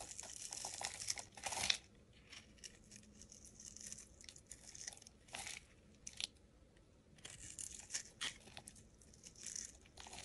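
A metal utility blade scrapes curls off the face of a solid pink hexagonal soap bar. Bright, dry scraping and crisp crackling come in short bursts separated by near-silent pauses, with little low end.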